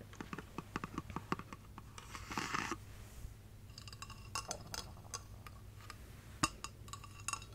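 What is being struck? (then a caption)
Hollow glass tree figurine. A hollow clear glass light-up Christmas tree figurine, with LED lights inside and a silver base, is tapped with long painted nails as it is moved between the hands. Quick, bright glassy clinks ring briefly over a steady low hum, broken by a few soft scraping rustles.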